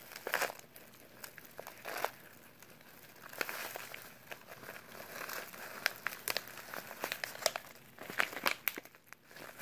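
A small, filled, brown kraft-paper instant oatmeal pouch is squeezed and crinkled by latex-gloved fingers. Dry, papery crinkles come in irregular bursts, with sharp, bright crackles over a soft rustle and almost no low end. The handling stays quiet and close throughout.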